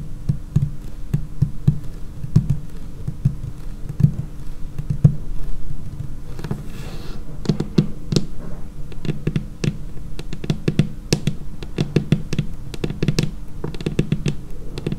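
Long painted nail tips tap on a large, solid, dark laminated tabletop in a steady, uneven stream of quick taps. Each tap gives a dull, low knock with a brief, bright click and almost no ring, over a faint steady low hum.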